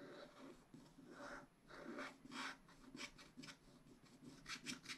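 A wooden stylus scratches across a black wax-coated scratch-art sheet in a spiral-bound pad. Quiet, dry rasping strokes come in short bursts, each with a bright, hissy edge and almost no ring afterward.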